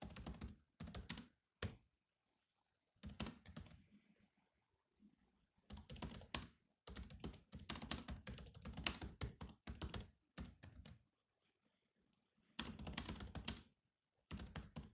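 Fingertips type on the black plastic keys of a silver laptop keyboard in bursts of quick, dense taps separated by short pauses. Each keystroke is a short, dry click with a low thunk beneath and a bright tick on top, dying away almost instantly.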